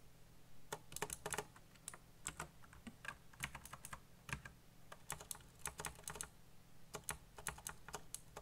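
Fingertips fast-type on a black backlit mechanical computer keyboard with plastic keycaps. Irregular bursts of sharp, bright clicks and clacks come in quick runs and short pauses, each keystroke dying away almost instantly over a faint low hum.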